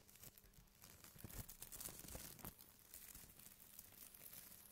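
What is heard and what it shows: Fingertips of both hands scratch and rub the surface of a large, thin, white printed plastic bag lying flat and empty on a table. The result is a dense, bright crinkling and scratchy rustle with quick crackles, growing louder through the middle before easing off, over a faint steady low hum.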